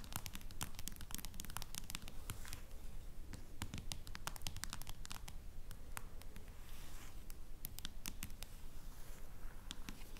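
Long nails tap a smartphone in a clear plastic case and scratch along its sides, making dense, uneven clicks and scrapes over a steady low rumble. The sharp ticks flash bright and die away almost instantly, coming in irregular flurries throughout.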